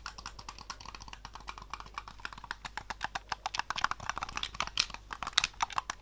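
A white, hollow, Xbox-style plastic game controller held in both hands as fingertips and thumbs press and click its buttons, triggers and sticks. About forty quick, dry, bright plastic clicks and taps follow one another rapidly, each dying almost instantly, with a few sharper, louder clicks toward the end.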